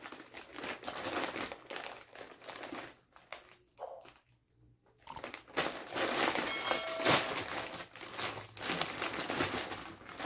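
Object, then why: Metallized plastic chip bag full of corn chips. A medium metallized plastic Fritos BBQ corn chip bag, full of chips, is held in both hands and crumpled, squeezed and shaken with fingers and palms, possibly while being opened; a bottle and cutting board nearby stay untouched. Dense, bright crinkling and crunching fills the clip, fading to a near-quiet pause around the middle before returning louder and sharper.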